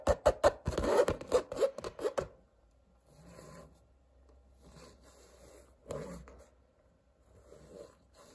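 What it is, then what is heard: Painted canvas being scratched and rubbed. A long nail and fingertips scratch and rub a stretched painted canvas with colored blocks and a coarse woven texture on a hollow-backed frame. A quick, uneven burst of about a dozen sharp, rasping scratches with a midrange papery tone fills the first two seconds. Then softer, quieter rubbing follows, with one firmer scratch partway through.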